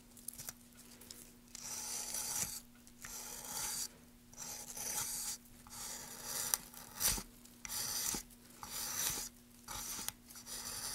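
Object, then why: Wooden plank. A gloved hand carves and scrapes along a solid light wood plank with carved grooves using a gouge. Bright, rasping scraping strokes come in bursts separated by short pauses, with a few sharp clicks, over a faint steady low hum.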